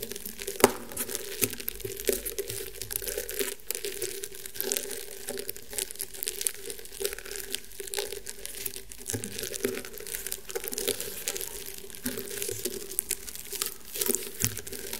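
Fingernails scratch and creak the woven fibres of a flat round woven rattan table mat. A steady, dense run of dry crinkling scratches and small crackles carries a woody midrange tone with bright, hissy edges, broken by a few sharper snaps. The result is quiet and close, with no ring after each scrape.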